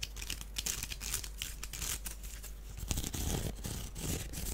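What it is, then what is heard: Wicker basket. A small, hollow, empty woven wicker duck basket is held in the hands while fingernails scratch and tap across it. The result is a steady stream of dry, crackly scratching broken by quick, soft taps with no lingering ring.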